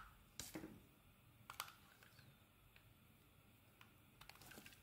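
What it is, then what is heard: Bar of soap being carved. A metal blade shaves thin translucent curls from a solid white rectangular bar of soap, producing quiet, crisp scraping ticks and short bright crackles at irregular intervals. Each cut is brief and dry with almost no ring, over a faint low background hiss.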